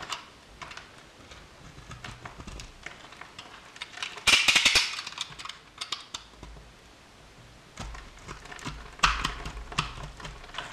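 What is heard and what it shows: A utility knife blade cuts and scrapes small cubes off a blue and white striped solid soap bar that is scored into cubes and held in the hand, and the cubes pile up on the table. It makes a steady run of crisp, bright clicks and scratchy ticks, with two louder crumbly bursts as chunks break away.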